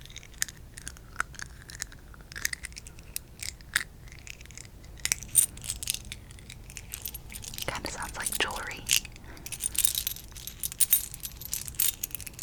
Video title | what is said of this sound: ~ASMR~ Monopoly Triggers 🎲♥️ (tapping, scratching, crinkle sounds) | it kind of sounds like jewelry